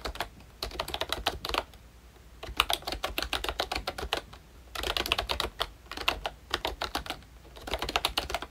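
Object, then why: Plastic membrane keyboard. Both hands tap with their fingertips on the round black keycaps of a pink plastic ROYCHE Disney Mickey Mouse retro membrane keyboard. Bursts of quick, short, bright clacking keystrokes come in four rapid runs separated by brief pauses. Each tap stops dead, with no ring.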